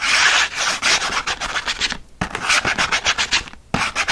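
Fingernails and fingertips scratch fast across the printed back of a thin cardboard pen-pack card, making a dry, bright rasping rub in quick, uneven strokes. The scratching runs almost continuously, with two short pauses near the two-second mark and just before the end.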